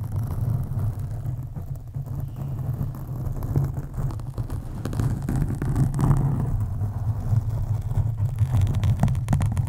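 Fingertips and long nails scratch deeply over a black foam windscreen on a USB microphone. The result is a continuous, deep rumbling rustle, almost entirely low in pitch, with occasional sharper scrapes and clicks.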